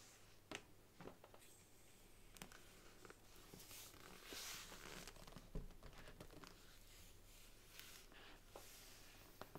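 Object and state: Faux leather covered book.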